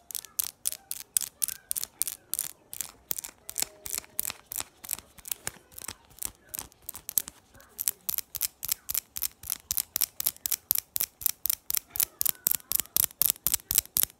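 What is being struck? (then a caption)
Small metal double-ring belt buckle. Long orange acrylic nails tap and scratch a small, shiny silver-tone metal double-ring belt buckle with solid rings, held in the hands. About 50 sharp, bright, high-pitched clicks come at a quick rhythm of roughly four per second, each dying away almost instantly, with faint scratching between them.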